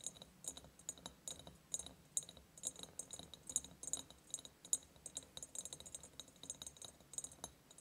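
Long painted nails tap quickly on the sides of a large, empty ribbed glass jar. The result is a steady run of short, bright clicks and clinks with a high glassy ring that dies away almost at once. The taps are spread unevenly across the clip, with occasional louder ones.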